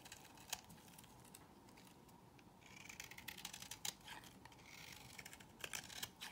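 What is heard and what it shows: A solid peach-colored bar of soap held in the hand is cut and scraped with a box cutter blade. Quiet, dry scraping and crisp, bright little snaps and clicks come in irregular bursts, each dying away almost at once, over a faint hiss.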